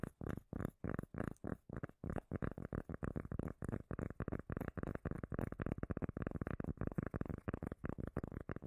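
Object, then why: Cork lid. Rapid, muffled taps on a cork lid give a deep, bass-heavy thumping with a low rumble and almost no high end. The taps come in quick bursts with very short gaps and no ringing.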